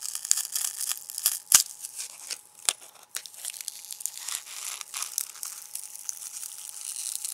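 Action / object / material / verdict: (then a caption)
scrape / foam packing peanuts / foam / none. A small handful of white, ridged, lightweight foam packing peanuts is held in an open palm while the fingers of the other hand squeeze and crush them over a bamboo cutting board. The result is a dense run of bright, dry squeaks, crackles and crunches with almost no low end, each snap dying away almost at once.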